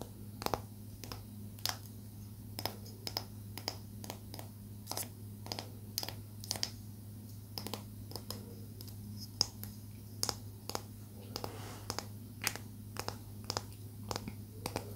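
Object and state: Palo santo wood stick.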